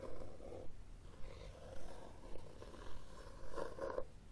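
Fingernails scratch across the red textured cloth cover of a hardcover book held upright. The result is a soft, rough, low scraping with a hum-like mid tone, swelling in repeated strokes roughly every half second.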